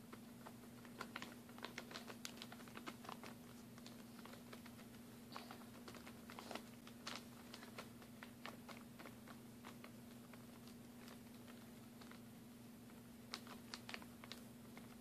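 A plastic packaging bag full of mini glue sticks is tapped with fingernails and turned over in the hand, giving quick, sharp, bright clicks and light crinkles in irregular bursts. A steady low hum runs underneath throughout.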